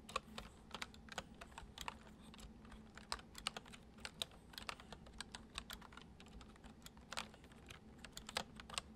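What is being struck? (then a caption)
Plastic computer keyboard. Fingertips tap steadily on the keys of a white plastic computer keyboard, producing around forty quick, gentle, bright clicks over nine seconds. The clicks die away almost instantly over a faint, steady low hum.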